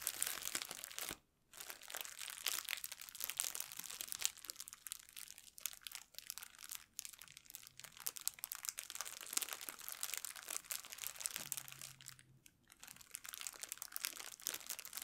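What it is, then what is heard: Crinkled plastic bag. An empty, thin clear plastic packaging bag is pressed flat on a table by fingertips and nails, crinkling and crunching. The result is a dense, bright, crackly rustle with many quick snaps and a brief quiet gap near the start.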